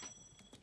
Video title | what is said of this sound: Unboxing - HMS Endevour - Rum Runner - Famous 5 | if you flip it like you can hear it a sweet ring